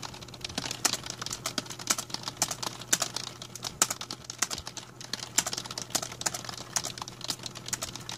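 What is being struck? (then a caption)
Plastic membrane computer keyboard. Both hands type with their fingertips on a full-size black plastic A4Tech membrane computer keyboard with a hollow plastic body, resting on a blue mat. The result is a steady, fast run of short, bright, clacky keystrokes that die away almost instantly, over a faint constant low hum and some possible background noise.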